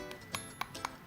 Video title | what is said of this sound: Niki's Ombré | if you tap on my now that's a hard acrylic